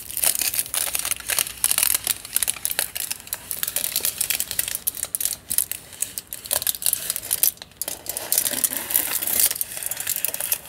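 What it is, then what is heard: Foil-wrapped tube. A long tube wrapped in crinkled aluminium foil is scratched and crinkled by nails and fingertips. The result is a steady run of dense, bright crackling and rustling with brief sharp ticks and almost no low end.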